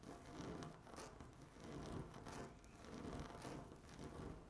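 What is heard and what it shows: Long natural nail tips tap and scratch across a flat, solid speckled laminate tabletop. The result is a quiet, rough scratching that swells and fades in slow, uneven waves, with a dull low body and faint bright edges on each stroke.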